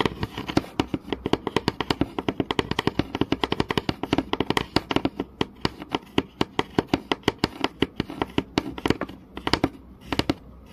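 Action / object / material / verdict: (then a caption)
tap / wooden board tapped with fingernails / wood / none. Fingernails tap rapidly on the surface of a flat, solid wooden board in close-up. The result is a fast, uneven run of dozens of short, dry knocks, each with a hollow woody body around 285 Hz and a brief bright click that dies away almost instantly.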